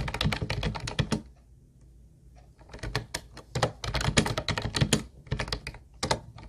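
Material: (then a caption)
Plastic. Fingertips of both hands type on a teal Ubotie plastic keyboard with round white plastic keys, producing quick, hollow clacking keystrokes with a low thump and bright click. A burst of typing stops for about a second and a half of near-silence, then the rapid keystrokes resume and continue to the end.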